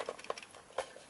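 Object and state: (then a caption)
Kalimba with a loose internal rattle. A wooden TREELF 17-key EQ kalimba with an internal piezo pickup is shaken, giving four light, dry rattles with a midrange buzz around 500 Hz that die away almost instantly. The rattle comes from loose pickup wires inside the body; a regular kalimba makes no sound when shaken, so this one is faulty.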